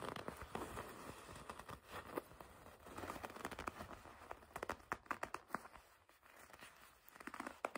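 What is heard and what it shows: Long red nails grip and rub the black leather of a black and red leather jacket. It makes quiet, irregular crackling and creaking with dense sharp clicks and brief squeaky rubs, pausing and quieting near the middle before building again.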